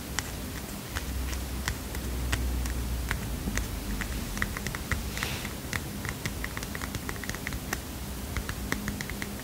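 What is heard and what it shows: A small heart-shaped paper mini notepad is tapped with fingernails, producing a quick, irregular run of sharp, dry clicks with bright ticks. Each tap dies away almost at once over a steady low hum.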